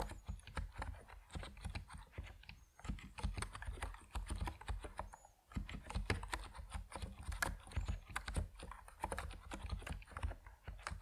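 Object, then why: Plastic mechanical keyboard with PBT keycaps. Fingertips type steadily on an Epomaker NiZ Plum Atom 68, a compact plastic mechanical keyboard with white and purple PBT keycaps. The result is a quick, continuous patter of short, dry keystrokes that stop almost at once, with a deep, full-bodied tone and only a little high-end click.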